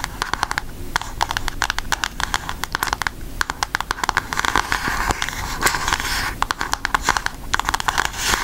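Long acrylic nails tap and scratch the front cover of a flat, rectangular, book-sized cardboard eyeshadow palette with a pink Aristocats cover, held up in both hands. The result is rapid, dry clicking taps with quick decay, centered around 1 kHz with bright edges, in bursts separated by softer scratching and brief pauses.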